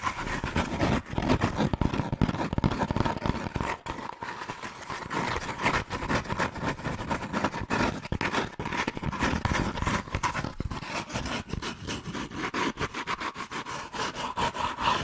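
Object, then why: Hand-sized molded paper pulp cone. A hollow, hand-sized cone of brown molded paper pulp or cardboard is scratched and tapped quickly with long nails and fingertips. The result is a dense, continuous run of dry, papery scratches and soft hollow taps, with a steady mid-range tone under the rough texture.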